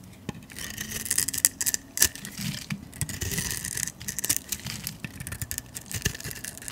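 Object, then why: Bar of olive oil soap scraped with a metal blade. A metal utility blade scrapes shavings off the face of a solid green rectangular bar of olive oil soap held in the hand. The sound is a series of crisp, bright, papery scrapes in quick bursts, with short dry clicks and soft low rustling underneath.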